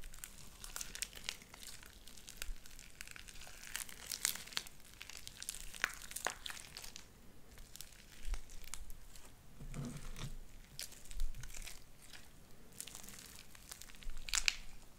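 Light-blue sticky slime with white beads is stretched, clapped between the palms and squeezed in the fingers. It gives a steady run of bright crinkling crackles and sharp sticky pops, with a few duller, lower squelches where it is pressed together.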